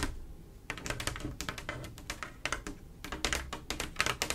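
Long acrylic nails on both hands tap fast across a large, solid, flat panel of small silver mirror-glass mosaic tiles set in grout, making a rapid, uneven run of short, bright clicks. The clicks die away almost instantly over a soft low rumble, with faint possible music in the background.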